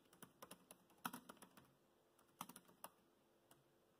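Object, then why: Plastic laptop keyboard keys. Fingertips type on the black plastic chiclet keys of a dark grey laptop keyboard. About 15 quiet, irregular, short clicky taps come in scattered bursts, with a couple of slightly louder keystrokes. Each tap is brief and dry.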